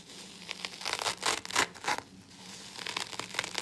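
Gloved fingertips pick, pull and tear at the green abrasive nylon scour layer of a hand-sized rectangular yellow polyurethane foam kitchen sponge that is soaked and covered in soap suds. The result is a series of bright, wet tearing and crinkling bursts that swell louder in the middle before settling into quieter, rapid crackles.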